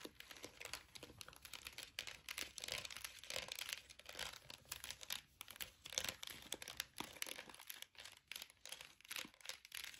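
A small, clear orange plastic gel-bead air freshener jar with a flower-shaped lid is held in the hands and tapped and scratched with long acrylic nails. The result is a quiet, continuous stream of quick, bright plastic clicks and scratchy, crinkly textures, dense in the highs with almost no low end and very short ring.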